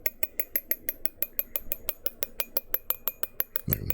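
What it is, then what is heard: Drinking glass tapped at the bottom. The bottom of a glass drinking glass is tapped in a quick, steady rhythm, about 24 times. Each tap gives a short, bright, clean clink with a high ringing tone, and a duller low thump comes near the end.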